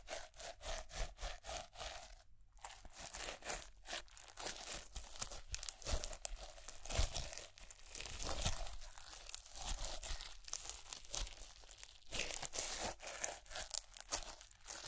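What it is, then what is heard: Clear slime with plastic pearl beads. Glittery clear slime with white plastic pearl beads rests on a palm while fingertips and long grey nails rub and press over it. Dense, rapid bead crunches and crinkles come through, bright and gritty, with soft low thumps. The pressing pauses briefly near the 2-second mark and again around 12 seconds.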